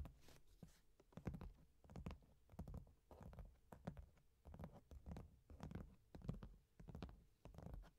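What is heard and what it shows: Long painted nails tap and scratch the top of a medium, hollow, closed corrugated cardboard box sealed with orange tape, lying on a velvet cloth. The sound is an irregular series of quiet, dull, low thuds with short scratchy brushes in between, each fading almost at once.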